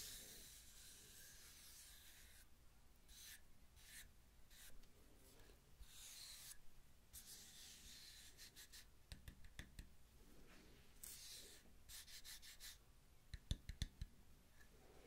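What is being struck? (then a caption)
Wooden tree slice coaster. A round, solid wooden tree-slice coaster with a bark rim is held flat on the palm while fingertips and long nails rub and scratch its top face. Soft, breathy rubbing alternates with bursts of bright, dry scratching, and a few sharper clicks stand out near the end. The sound is quiet and stays close throughout.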